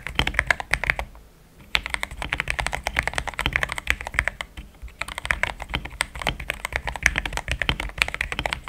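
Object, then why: Plastic mechanical keyboard. Fingertips of both hands type steadily on a compact pink-and-cream plastic mechanical keyboard with thick XDA-profile keycaps, Gateron Yellow switches and a polycarbonate plate, resting on a desk mat. Quick, bright, short keystrokes patter in dense runs with a low thud beneath each press. There is a brief pause just after the first second and a shorter lull near the five-second mark.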